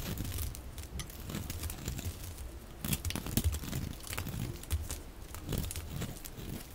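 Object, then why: Bar of dry soap. A hand-sized solid bar of dry pink soap with a blue rim, held in one hand, is shaved and scratched with a metal utility blade held in the other. Curls and flakes peel off with a continuous dry crinkling, scraping sound full of short crackly scratches.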